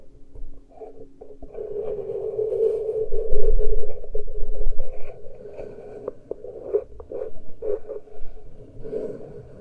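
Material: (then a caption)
Metal. Both hands scratch and pinch the uncovered metal microphone capsule grilles on a Tascam recorder with fingertips and nails. Close, scratchy rustling sits over a deep, muffled rumble, swelling into a dense scraping stretch in the first half. It then breaks into softer, irregular scratches and short pinching taps.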